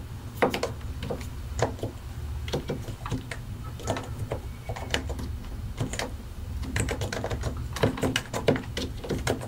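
Both hands type continuously on a solid white and grey plastic mechanical keyboard, fingertips pressing and tapping the keycaps over their switches. Quick, short clacks arrive in irregular bursts over a steady low hum.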